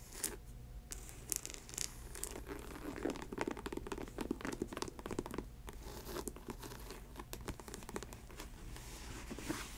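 Long white nails scratch and tap along the side and toe of a faux snakeskin ankle boot with a snake-print synthetic leather upper. The result is a steady, quiet run of dry, crinkly scratching broken by many short, bright clicks that stop dead with no ring.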